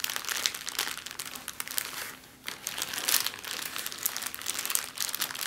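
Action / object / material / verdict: scrape / thin clear plastic bag / plastic / none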